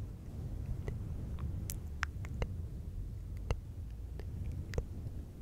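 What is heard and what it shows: Fingertips of both hands rub and scratch a fluffy synthetic fur windscreen on a silver microphone. A steady, muffled low rumble of rustling is broken by scattered brief, bright crackling ticks.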